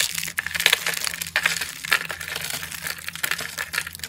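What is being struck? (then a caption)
Rolled soap shaving rosettes. Fingertips squeeze and crush small rolled rosettes of thin, dry green-and-white soap shavings on a granite surface, breaking them into brittle flakes. A dense, continuous run of bright, dry crackles and crisp crunches is heard, with sharper snaps standing out, over a faint low hum.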